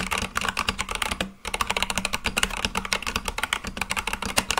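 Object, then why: Mechanical keyboard with plastic keycaps. Fingertips type quickly on a full-size Akko mechanical keyboard with white and light-blue plastic keycaps on a black case, producing a dense run of short, bright clacks centered around 2.8 kHz that die away almost instantly. The typing pauses briefly just before the halfway point, then resumes and continues to the end, with a faint low hum underneath.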